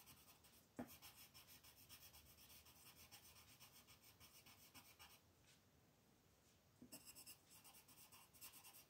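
A green colored pencil is rubbed and scratched in quick strokes to shade leaves on a flat white paper mandala sheet resting on a table, with the other hand holding the sheet. The result is a soft, bright, raspy scratching that pulses with each stroke, opening with a sharp tap. It then fades to near quiet for a moment before the quick strokes resume.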